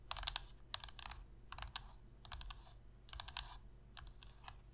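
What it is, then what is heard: Plastic game controller. Long pink-red fingernails tap rapidly on the hollow plastic shell and buttons of a black PlayStation controller. The taps come in quick bursts of dry, bright clicks that stop almost instantly, over a faint low hum.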